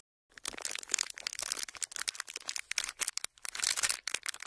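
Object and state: Thin plastic sheet crinkled.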